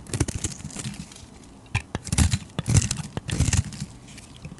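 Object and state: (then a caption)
Bar soap being carved. A flat metal blade repeatedly scrapes and carves thin shavings from a solid, palm-sized purple and pink bar of soap held in the hand. The strokes come as irregular bursts of dry, crackly scraping, with a soft low body and crisp bright edges. Brief quiet gaps fall between the strokes.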